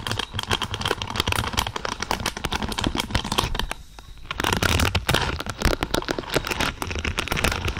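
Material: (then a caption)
Plastic. Long purple nails scratch and rake through a large lavender pad of thin, flexible plastic or silicone pins. The result is a dense, crackly stream of quick clicks and bristly scrapes with bright edges and a low rumble underneath. It dips into a brief quieter lull around the middle, then picks back up.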